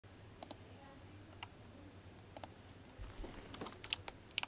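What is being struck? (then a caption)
Mechanical keyboard with plastic keycaps. A compact RGB-backlit GMMK Compact mechanical keyboard with Kailh Box White clicky switches and yellow and blue plastic SA keycaps, resting on a desk, is typed on quickly by the fingertips of both hands. Sharp, bright clicks come in an irregular pattern over a low steady hum, with a faint high whine in the middle and a denser burst of keystrokes toward the end.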